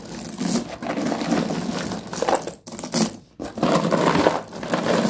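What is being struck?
Pile of broken slate pencil fragments.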